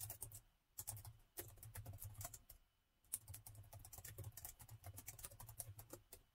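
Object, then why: Plastic laptop keyboard. Fast fingertip typing with both hands on a plastic laptop keyboard produces dense bursts of crisp, bright key taps over a soft low thud. The bursts pause briefly twice before the typing resumes.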